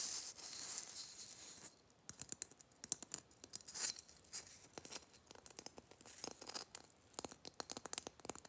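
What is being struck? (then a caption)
Glitter-coated Christmas bauble. A gold glitter-coated Christmas bauble is gripped in the hands while fingernails rub and scratch its glitter surface. A soft, steady high rasp at first gives way to quick, dry, crackling scratches and sharp ticks. The sound stays bright and thin with almost no low end.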